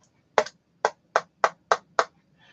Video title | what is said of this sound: ODDBALL Wednesdays (Grab Bag Donruss 1989-95, Fleer Front Row +Draft Pick '92) | can hear the little tin tin tapping there